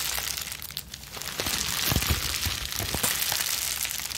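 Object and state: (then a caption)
Plastic bubble wrap being scrunched. A balled-up plastic bubble wrap sheet, cupped in hands with long nails, is quickly scratched, scrunched and squeezed. It makes a dense, continuous crinkling and crackling with bright hiss, broken by soft low thumps of handling. The crackle swells a little toward the middle and stays steady to the end.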